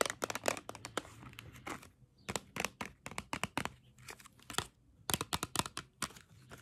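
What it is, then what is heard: Cardboard crayon box. A small printed cardboard box of 16 swirl crayons, hollow and filled with crayons, is held close and tapped and scratched with long acrylic nails. Dozens of quick, bright, dry clicks and scratchy, crinkling strokes come in uneven bursts with short pauses between them, over a faint low hum. Each tap stops dead with no ring.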